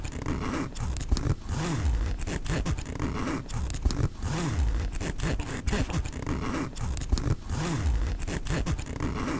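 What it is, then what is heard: Nylon backpack zipper. Fingertips slowly pull the metal pull of the front-pocket zipper on a black mesh nylon backpack. The result is a steady run of dense, raspy zipping strokes with a deep, low-heavy rumble that swells and falls with each pull.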